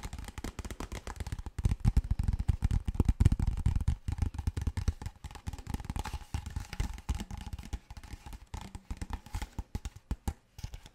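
A large, clear, apparently empty PET plastic water bottle is tapped rapidly with fingertips and nails. The result is a dense stream of short, dull, low thuds with a faint crinkly edge, loudest in the first few seconds before settling into lighter, steady tapping.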